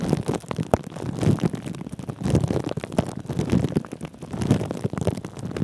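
Fingertips and short nails of both hands scratch and rub thin clear plastic cling film wrapped over a microphone's metal mesh head. The result is a continuous, close-up stream of muffled crinkling and scratching with a heavy low-pitched rumble and very little bright, high content. Small sharp ticks stand out from the rubbing throughout.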